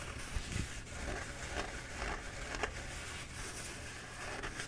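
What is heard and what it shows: Fingertips and nails scratch the surface of a bee-printed paper towel roll held in both hands. The result is a soft, continuous, irregular scratching and crackling rustle with brief brighter scrapes over a low background rumble.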